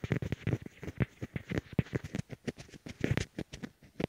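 Fingertips tap and rub both of a pair of small white hollow plastic Apple EarPods, used as the recording microphones, as they rest on a wooden table. About 24 quick, close, muffled thumps with soft rubbing are heard, low and boomy with very little brightness, each dying away almost at once.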